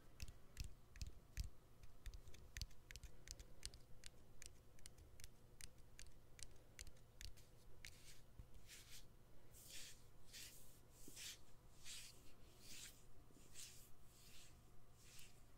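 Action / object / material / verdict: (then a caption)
tap / smartphone battery and frame / plastic, metal / none. Fingernails tap and scratch on the exposed battery and frame of a smartphone with its back cover removed. Quick, sharp, dry clicks come first in a steady, uneven rhythm, then give way to longer, brighter scraping strokes. A constant low hum runs underneath throughout.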